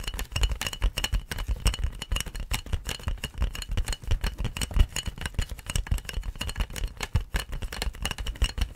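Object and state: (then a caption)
Plastic air-column packaging. Long nails scratch and tap along the ridged surface of large, clear, inflated plastic air-column packaging with hollow air tubes. The result is a dense, rapid stream of crinkly taps and rattling scrapes, with hollow low thumps from the air tubes and bright plastic clicks on top. Each tap dies away almost instantly.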